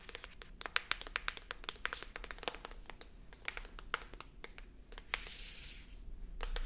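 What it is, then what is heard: Paperback book cover tapped with nails. Long acrylic nails tap and scratch on the matte card cover of a paperback book, Señor Gonzalez, held up in the air. Quick, bright clicks come in an irregular stream, with soft scratchy rustling between them that builds toward the end.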